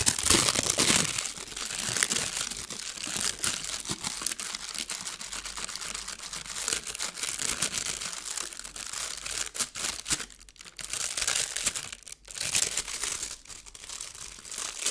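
A thin blue metallic foil sheet is pulled, then flattened and crinkled between fingertips. It makes a dense run of bright crackling crinkles with almost no low end, louder at the start and dipping briefly near the end.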